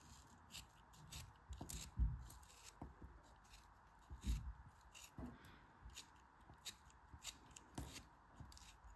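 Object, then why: Kinetic sand block. A solid green block of kinetic sand is held in the hands while a dark-handled knife or cutter slices and scrapes through it, and fingertips with long red nails press on it. Quiet, soft, gritty cuts and scrapes come at an irregular pace, with a few slightly louder crunchy cuts among them. The sound is mostly low and muffled, with brief bright grainy edges.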